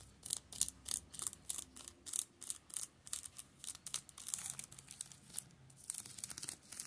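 Fingertips and nails scratch the plastic shrink wrap on the spines of a row of shrink-wrapped manga paperbacks. The result is a quiet series of quick, bright crinkling and scratching bursts with almost no low end and no lingering ring, turning into a denser, continuous rustle toward the end.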